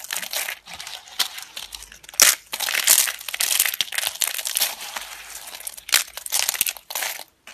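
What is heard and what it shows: Thin, brittle, dry yellow laundry soap slices are picked up and crumbled between fingertips with long red nails over a pile of soap flakes. The result is a dense run of bright, dry crinkling crunches and snaps, with sharper louder cracks at a few moments and almost no low end.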